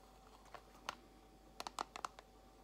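Long acrylic nails tap quickly on a small clear plastic compartment box holding white false nail tips. The result is a scattered run of quiet, sharp, dry clicks with a bright edge and no ring, clustered toward the end over a faint steady background hum.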